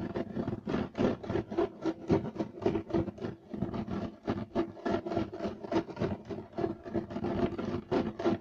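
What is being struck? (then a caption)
Woven loop-pile carpet. Short-nailed, clawed fingers scratch rapidly across a solid, flat, beige striped woven loop-pile carpet. The result is a steady run of dry, raspy scratching strokes, about three to four per second, with a rough mid-range body and a fizzy high edge. Each stroke stops quickly with almost no ring.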